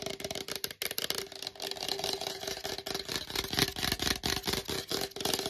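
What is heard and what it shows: A hollow black plastic collagen supplement tub, held upright in both hands, is tapped fast with fingertips and long nails on its sides and lid. The result is a dense, rapid, chaotic stream of bright, clicky taps with a hollow plastic resonance around 390 Hz and very short decays.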